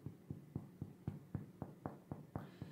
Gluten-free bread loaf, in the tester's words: você retirar o pão da forma e fizer um som oco, ele está assado